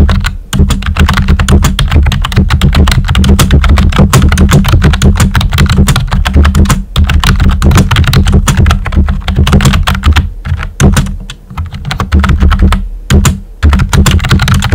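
A full-size pink plastic computer keyboard with a hollow body and round white typewriter-style plastic keycaps is typed on with short-nailed fingertips. A steady stream of quick, hollow clacking taps rides over a heavy low thump, pausing briefly a few times before the typing resumes.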